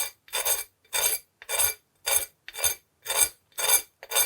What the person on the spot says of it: that sounds like I'm dragging it on concrete it's so crispy